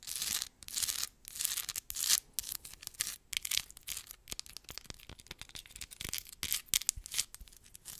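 Long acrylic nails scratch fast and hard across a solid, palm-sized rough crystal geode rock with a crystal side, held close to the mic. The result is a dense run of bright, gritty scratching bursts with quick dry rasps and almost no low end.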